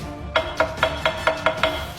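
An old Honda motorcycle frame made of bent iron/steel pipe is tapped seven times in a steady rhythm. Each tap gives a short metallic knock with a tone near 645 Hz that dies away quickly. The frame sounds dense and solid compared with the newer ESAF frame.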